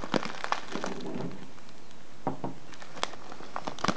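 Fingertips and nails crinkle and press a small brown kraft paper tea bag with a clear plastic window, filled with loose herbal tea and standing on a table. Quiet, scattered crackles and crisp taps come in irregular bursts over a low, steady hiss. The louder snaps cluster near the start and end.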